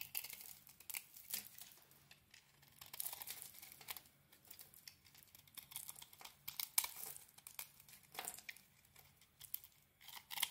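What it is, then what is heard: Coated soap bar being shaved. A steel utility blade scrapes the metallic bronze, heart-patterned coating off a solid rectangular white bar of soap held in the hand, shaving the soap beneath. The quiet, irregular strokes come through as bright, crinkly scratching and shaving bursts with almost no low end and no ring after each pass.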